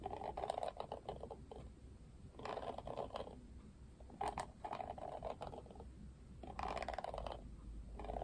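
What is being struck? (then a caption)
Plastic paddle hairbrush. Fingertips scratch and flick the plastic bristles of a plastic paddle hairbrush held upright, bristle side facing out. Bursts of dry, rapid clicking and scratchy ticking with a mid-range tone alternate with quieter pauses.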